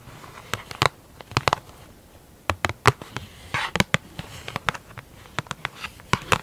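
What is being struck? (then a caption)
Large round plastic lid with clear plastic top. A large, hollow, round black plastic lid with a clear plastic top is scratched and tapped with long acrylic nails of both hands. Quick, dry clicks and taps arrive in irregular bursts, with brief scratchy rubbing between them over a quiet background.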